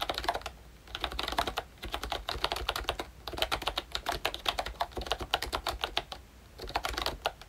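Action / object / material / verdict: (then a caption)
tap / plastic membrane keyboard / plastic / none. Fingertips type in bursts on a ROYCHE Disney Mickey Mouse pink plastic retro membrane keyboard with round keycaps and a hollow body. Quick, bright, clacky keystrokes come in flurries separated by short pauses.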